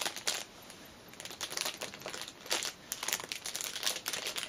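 Fingers and nails crinkle and scratch the loose ends of clear cellophane wrapped around a small black fabric pouch lying on a cushion. Bright, dry crackling comes in quick bursts with brief quieter pauses, each crinkle sharp and short with almost no low end.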